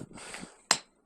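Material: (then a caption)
Rock. An igneous rock embedded in the ground's sediment is struck once, giving a single sharp, bright click that dies away almost at once, after a faint rustling hiss. It gives no ringing tone because it is embedded in the sediment.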